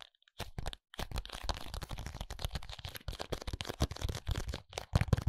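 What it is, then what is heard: Cardboard contact lens box. A small paperboard contact lens box is tapped and scratched on its face and edges with fingertips and nails. The result is a dense run of short, dry taps and scratchy rustles with a soft, low thump under them and no ring after each hit.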